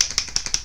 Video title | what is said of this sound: Je teste les nouveaux Superstay vinyl Ink | vous entendez, il y a une bibille